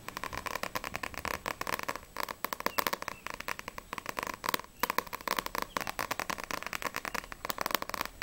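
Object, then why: Paperback book with glossy paper cover. Long nails tap and scratch quickly across the glossy paper front cover of a small, solid paperback manga, No.6 volume 4, held in both hands. The sound is a dense run of crisp, dry clicks mixed with scratchy rustling, centered around 1 kHz, with bright high detail and almost no low end. Each tap stops instantly, with no ring.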